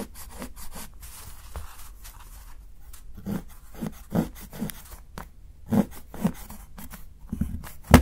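A steel kitchen knife chops thin shavings from the edge of a solid dark chocolate bar held by fingertips. Soft, low, dull thuds of the blade meeting the board are mixed with brief, dry crunching and scraping cuts. Quiet rustling sounds fill the gaps between them.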